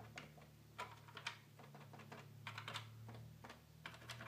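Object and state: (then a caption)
Plastic toy keyboard. Fingertips repeatedly press and click the plastic keys and buttons of a red plastic children's electronic keyboard with a hollow body, apparently unpowered. It makes quick, dry, bright clicks and taps with almost no ring, over a steady low hum.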